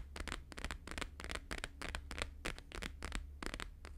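Both hands tap fast with fingertips and nails on a thin, flexible, flat square sheet of plastic-laminated holographic paper lying on a fur rug. The result is a quick, uneven flurry of crisp, bright, clicky taps that die away almost instantly, over a steady low hum.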